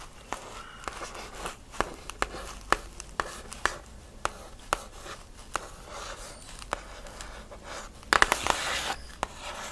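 A steady run of sharp, papery clicks centred in the upper mids, each gone almost instantly with no ring. Fingernails tapping a stiff cardboard box give this dry tick. Near the end a brief rasp of nails scratching the surface. Small quiet room.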